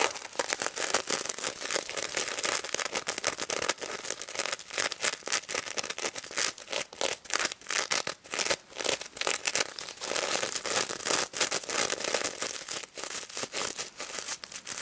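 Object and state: Sequin-covered plush toy being scratched.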